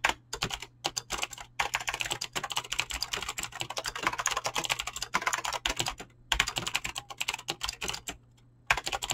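Fingertips type fast on a mechanical keyboard with clicky green switches and PBT plastic keycaps, producing a dense stream of sharp, bright clicks with brief pauses. A low steady hum sits underneath the keystrokes.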